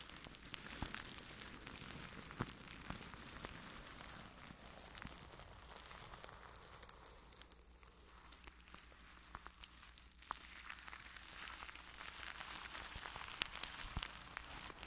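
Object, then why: Plastic cling wrap over a microphone. A makeup brush rubs across clear plastic cling wrap stretched over a microphone, moving from different sides. The result is a soft, steady, bright rustling crackle with scattered sharp ticks and pops over a faint low hum, quieter in the middle and building again toward the end.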